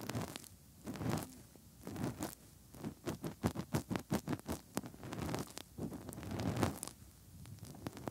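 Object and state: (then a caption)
Silicone microphone ears rubbed by fingertips. Bare fingertips rub inside the hollow canals of the soft silicone ears of a 3Dio binaural microphone, making scratchy, zipper-like friction. Muffled, low-heavy rubbing swells come and go, with a run of rapid, distinct strokes in the middle.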